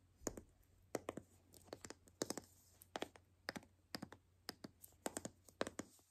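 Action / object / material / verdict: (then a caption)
tap / plastic toy capsule ball / plastic / none. Long nails tap and click on the shell of a white hollow plastic toy capsule ball held in the hands. The quiet, sharp, dry clicks come in quick irregular bursts with no ring.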